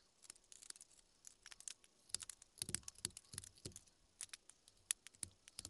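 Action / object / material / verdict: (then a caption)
scrape / small wooden carving block / wood / none. A small carving knife cuts and scrapes a small, solid, pale wood carving blank held in hand, carving a relief for a Tengu mask keychain as chips fly. The sound is quiet, with rapid, crisp, bright scrapes and snicks, and a few stronger cuts carry a brief soft low thud.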